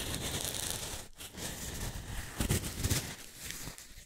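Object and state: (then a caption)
Foam cylinder. A pair of identical small, solid pale pink foam cylinders, one held near each microphone, is scratched and squeezed with long manicured nails and fingertips. The result is a continuous, crinkly, crackling scratch with bright hiss and a soft low rumble, briefly dropping out just after the one-second mark. It then swells into a few louder squeezing bursts before tapering off.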